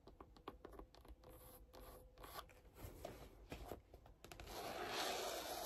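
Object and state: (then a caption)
Faux-leather binder cover, nail taps and scratches. Long pink-and-yellow acrylic nails tap and scratch the red cover and grey rubbery-trimmed edge of a large, closed, hollow red faux-leather photocard binder held upright. Quick, dry clicking taps, about four per second, mix with scratchy rubbing. It ends in a louder, steady, bright scraping hiss.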